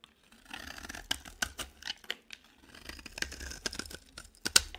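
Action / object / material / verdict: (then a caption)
scrape / bar of soap scraped with a blade / soap / none. A utility knife blade scrapes and shaves a dry, cream, palm-sized solid bar of soap. The result is bright, dry rasping strokes broken by sharp, short clicks and snaps as shavings peel off, with brief quiet pauses between passes.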